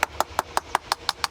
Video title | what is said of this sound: Wie man eine Sandsteinfassade erneuert - SWR Handwerkskunst | You hear, it's hollow, it's all hollow. That means the stone has separated from its base at that point. I have a complete shell in that area.